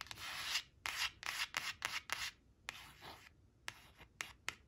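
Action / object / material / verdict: scrape / laminated cardboard card / laminated cardboard / none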